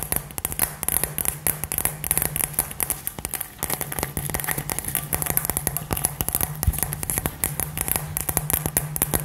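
A hand-sized, hollow, light-up glass LED globe filled with gold glitter is held up and tapped and scratched with long fingernails. The result is a dense, fast run of sharp, bright clicks and scratchy ticks that barely ring, over a steady low hum.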